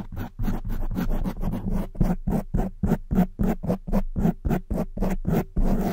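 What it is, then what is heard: Foam microphone windscreen being scratched. Long white nails and fingers scratch and rub a black foam windscreen on a silver microphone. About twenty short, dull, low-heavy scratching bursts repeat at an uneven, quick pace, each a rough brushing rasp that stops abruptly.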